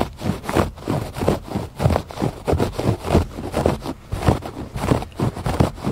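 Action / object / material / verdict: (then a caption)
scrape / woven fabric rug / fabric / none. Fingers scratch repeatedly across the loops of a textured woven fabric rug on a porch. The result is an uneven series of short, dull rasping strokes, about one and a half per second, with most of the weight in the low range and almost no bright edge.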